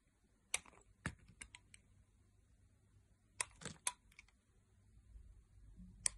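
A metal blade carves slices and wedges from a solid oval pale pink bar of soap held in the hand. Ten short, crisp, bright cutting clicks come in scattered bursts over a quiet low background, each dying away almost instantly.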